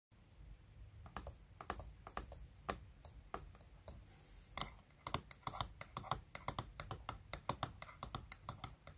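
Long natural fingernails tap rapidly and irregularly on the clear plastic lid of a small, round makeup compact holding solid pressed baked bronzing powder, which is stacked on another compact in a wooden tray. Each tap is a quiet, sharp, bright click that dies away almost instantly over a soft low background hum.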